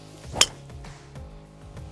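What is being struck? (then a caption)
Golf driver with carbon face striking a ball. A TaylorMade Qi4D golf driver with a carbon face strikes a golf ball, producing a single sharp impact that is loud but dull and thuddy. The thuddy character comes from the carbon face rather than a titanium one. Faint background music plays under the strike.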